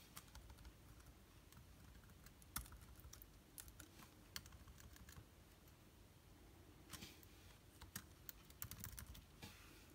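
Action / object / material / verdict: tap / plastic laptop keyboard keys / plastic / none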